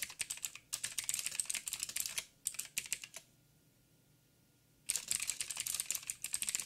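Fingertips type on a backlit mechanical keyboard with plastic keycaps and blue clicky switches. Bursts of sharp, bright clicks come in rapid runs, with a near-silent pause partway through before the typing resumes.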